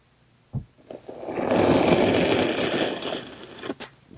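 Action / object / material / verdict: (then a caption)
scrape / kinetic sand block cut with a steel knife / kinetic sand / none. A hand-held steel kitchen knife presses slowly through a solid slab of blue and green kinetic sand already scored into strips. A soft tap and a few light clicks lead into a long, gritty crunching scrape that swells, holds, then fades. Faint ticks follow at the end.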